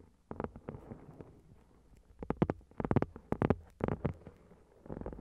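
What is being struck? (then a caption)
Foil-covered card notebook. A notebook with a shiny gold reflective foil cover, lying flat on the recorder, is tapped with long red-painted nails. Quick, irregular clusters of soft, dull taps come through with a low, muffled body and almost no ring, pausing briefly between bursts.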